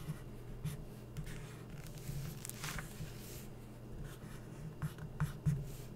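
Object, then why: Coated paper magazine page under a felt-tip marker. A felt-tip permanent marker is stroked across a printed photo on an open glossy paper magazine, its thin coated pages lying flat. Short, scratchy drawing strokes come in bright bursts over a steady low hum, with a few sharper scrapes near the end.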